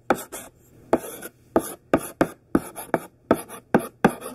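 A thick pink sidewalk chalk stick, held in the hand, writes words on a large flat black chalkboard. About twelve short, scratchy strokes sound in quick bursts, each with a bright, gritty hiss and a brief tail, separated by near silence.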